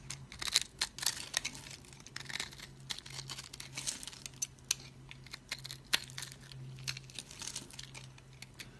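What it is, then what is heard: Dry cream soap bar. A solid, dry cream soap bar is held in the fingers while a blade scrapes crumbly cubes off it. Bright, dry crunching and crackling comes in quick bursts with sharp snaps, over a faint steady low hum.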